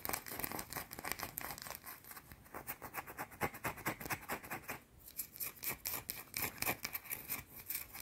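Long teal nails scratch a small, round, solid white soap bar held in both hands. Quick, uneven strokes make a quiet, dry, bright scratching and crinkling sound. Each stroke is short and does not ring on.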